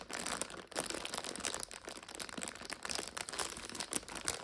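Long nails scratch and pinch a full purple five-packet instant noodle multipack in its plastic overwrap, making it crinkle. A dense, continuous run of bright, crackly plastic crinkles and scratchy rustles fills the clip, with almost no low end.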